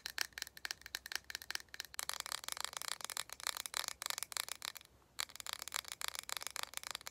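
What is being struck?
Small round plastic cosmetic jar with screw lid.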